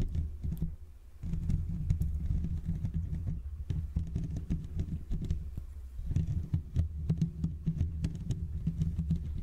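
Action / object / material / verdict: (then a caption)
scrape / metal mesh microphone grille / metal mesh / none. Fingertips with short nails scratch and tap the hollow metal mesh grille of a Blue Yeti microphone with both hands, making a dense, continuous run of soft, rapid taps and scratches. The sound is a deep, thumping rumble with quick clicky transients that barely ring. It thins out briefly around one and six seconds before resuming.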